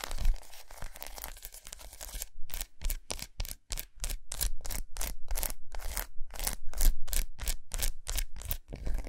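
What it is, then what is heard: Milk chocolate bar. Long nails scratch a large, unwrapped solid milk chocolate bar with raised squares resting on a towel. A dense, continuous run of dry, crackly scratching gives way after about two seconds to a quick rhythm of short, bright rasping strokes separated by brief silences, over a faint low rumble.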